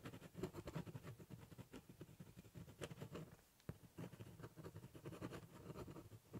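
A ballpoint pen doodles and scribbles on the top of a large corrugated cardboard box, cross-hatching with quick scratching strokes. The close, quiet sound is a dense run of dull, low scratching and rasping that continues throughout, with a brief lull around the middle before the strokes pick up again.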